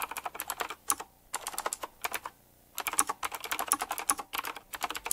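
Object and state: Mechanical keyboard being typed on.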